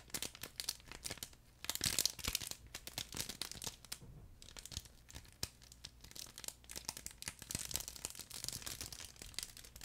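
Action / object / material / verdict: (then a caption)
scrape / fabric plush pet toy with internal crinkle film / fabric, plastic film / none. A soft, flat, yellow furry plush chicken dog toy with a crinkle film layer inside is held close to the microphone and squeezed and rubbed with fingertips. It makes dense, bright crinkling and crackling with sharp little snaps, swelling louder around the two-second mark and again near the end. The sounds die away almost instantly between crackles, over a faint low hum.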